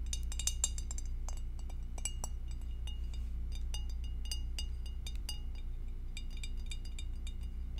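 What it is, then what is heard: Glass food container. An empty, hollow, clear glass two-compartment rectangular food dish, held in both hands and tilted, is tapped with long acrylic nails. Quick, bright clinks with very short ring come at an uneven, rapid pace, about three per second, over a steady low hum.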